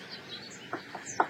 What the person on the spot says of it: c'est pourri en dedans, là. Ça sonne le vide.